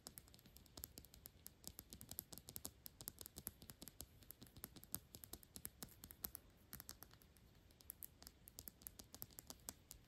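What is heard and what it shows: Long pink nails rapidly tap and scratch a square, thick-walled Byredo glass perfume bottle with a black cap, partly full of liquid, held close. A dense, steady stream of quiet, sharp clicks with bright glassy edges and a faint low knock is heard, each tap dying away almost instantly, with soft scratching between the taps throughout.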